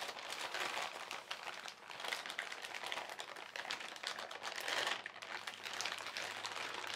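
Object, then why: Thin plastic shopping bag. A flat hand and fingertips rub, smooth and crumple the film of a thin white printed plastic shopping bag that is partly filled. The result is a steady, bright crinkling and crackling that swells and eases in soft waves throughout, with almost no low end.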